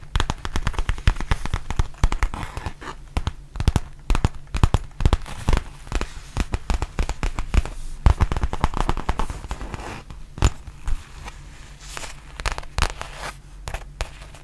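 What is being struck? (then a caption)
Faux leather zip pouch. Long nails tap and scratch a black embossed faux leather RØDE zip pouch, giving a dense run of quick, dry clicks with very short ring. Scratchy rustles sit between the taps, and most of the sound's energy falls low.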